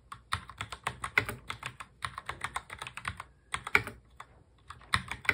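Both hands type fast on a full-size black mechanical keyboard with plastic keycaps, fingertips tapping the keys. It makes a rapid stream of short, bright clicks with very little low end, each dying away almost instantly, broken by a brief pause midway before the typing resumes.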